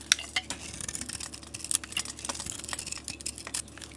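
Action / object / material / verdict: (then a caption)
scrape / painted bar of soap / soap / none. A blade scrapes a solid green bar of soap with a marbled paint coating, held in the hand, and the painted skin is peeled off by hand. Quick, bright, crisp scratching and crackling ticks come in an uneven stream over a soft hiss, with almost no low end.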